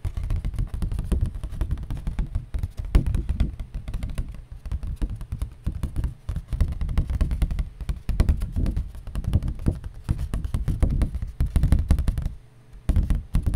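A piece of cardboard is tapped rapidly and continuously with dense, dull, low-pitched thuds that die away almost instantly. The tapping briefly drops to near silence around the twelve-and-a-half-second mark before resuming at the end.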